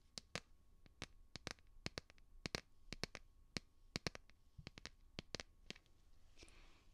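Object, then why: Plastic phone case on a smartphone. Fingernails tap the back of a light blue plastic phone case on a smartphone held beside the microphone. About two dozen sharp, bright clicks come in an irregular rhythm, each dying away almost instantly with no ring. A soft, brief scratchy brush near the end closes the clip.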